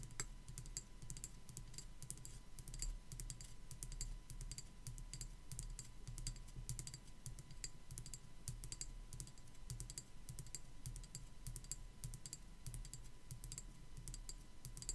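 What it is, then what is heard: Plastic skull decoration tapped with nails. Long black acrylic nails with spiderweb designs rapidly tap and scratch the top and sides of a small white plastic skull decoration held in a hand. Quick, dense, crisp clicks and bright scratchy ticks run continuously over a low background hum, each tap dying away almost instantly.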